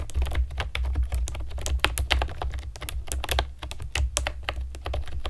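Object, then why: Plastic keyboard. Long nails and fingertips type quickly on a compact plastic typewriter-style keyboard with round plastic keycaps and a hollow plastic body. It produces a dense stream of short, bright clicks and clacks. A steady low hum runs underneath throughout.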